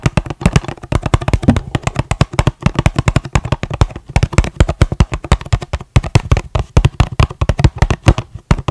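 A small, hollow, red-and-white printed cardboard packaging box is held in one hand close to the microphone and tapped quickly with the fingertips and nails of the other hand. The result is a rapid, continuous stream of dozens of short, dull, low, hollow thuds with almost no ring and very little brightness.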